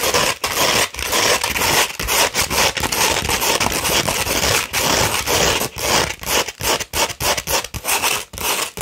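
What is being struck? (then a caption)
Coarse sandpaper sheet scratched with fingernails. Long pointed red nails on both hands scratch a coarse 60-grit sandpaper sheet held flat. The result is a steady run of dry, gritty, bright scraping strokes in quick, uneven rhythm, each separated by brief pauses.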